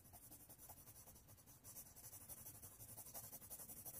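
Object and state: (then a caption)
Pencil coloring on paper. A red colored pencil rubs back and forth across a thin white paper sheet, held flat by one hand on a wooden tray, while coloring a flag shape. About fourteen soft, scratchy strokes follow in a steady rhythm, with a bright hiss over a low, dull rub. The strokes grow louder after the first second and a half.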